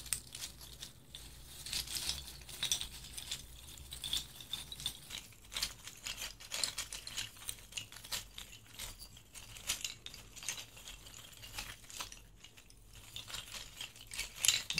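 A bundle of thin, hollow, light-colored rattan reed diffuser sticks, about 20–30 cm long, is held in both palms while the fingers roll, rub and shake them. The sticks clatter against each other in a quiet, continuous stream of dry, bright clicks and rustles, with short bursts that swell and fade. A faint low hum runs steadily underneath.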